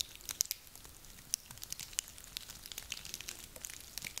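Hands squeeze and rub a handful of small, dry, woody pine cones, producing a quiet stream of bright, dry crackles and clicks. Several sharper snaps stand out against a soft, continuous rustle, with almost no low-end weight.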